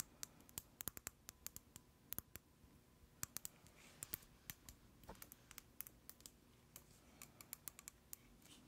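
A hand-sized white plastic cosmetic jar with a black screw lid is held in the hands and tapped with long acrylic nails. Dozens of sharp, bright clicking taps come at an unhurried, uneven pace, each dying away instantly over a faint low background hiss.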